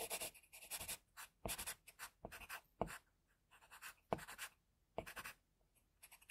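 A pencil tip scratches fine strokes across a flat sheet of drawing paper while a hand rests on tissue. The quiet, dry, bright scratching comes in short irregular bursts separated by brief pauses, with a few sharper ticks where the pencil meets the paper.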